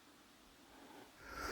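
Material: Nothing is struck.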